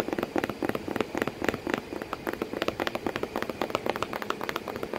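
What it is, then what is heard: Cardboard box tapped with fingernails. Long painted nails tap and scratch quickly on the flap of a hollow corrugated cardboard box with crumpled kraft paper behind it and a cat sitting inside. About thirty short, dry, papery taps fall in an uneven rhythm over a soft scratchy hiss, with a hollow body around 440 Hz and brighter clicky edges. Each tap dies away almost at once.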